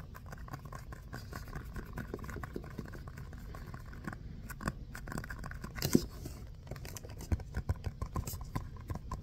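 A small, solid, textured orange foam basketball stress ball is tapped and scratched close up with fingertips and short nails. Soft, dull patters and scratchy rubbing sit mostly low in pitch and fade almost instantly, with a few sharper taps standing out near the middle and toward the end.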